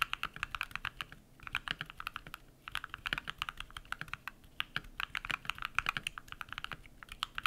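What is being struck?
Mechanical keyboard with PBT plastic keycaps.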